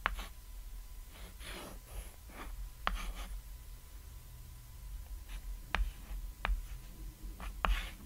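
A white chalk stick scratches and writes lines across a flat, solid cat-shaped painted chalkboard resting on red fabric. Soft, breathy scraping strokes are broken by five sharp, brief chalk taps, all over a quiet low hum.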